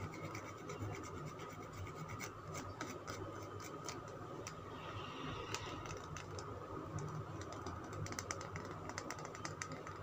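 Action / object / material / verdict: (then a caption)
scrape / bar of soap / soap / none. Fingernails scratch the scraped surface of a solid green Lux soap bar, making a steady, quiet, dry scratching with a dense scatter of small crisp ticks and bright clicks. A faint, constant tone sits in the midrange beneath the scratching throughout.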